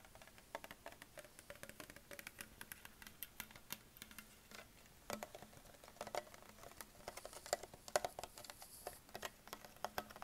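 A hollow green Perrier PET plastic sparkling water bottle, held sideways near the cap, is tapped with fingertips and short nails. The result is a quiet, steady patter of quick, dry, clicky plastic ticks with bright edges and almost no ring, a few landing harder, over a faint low hum.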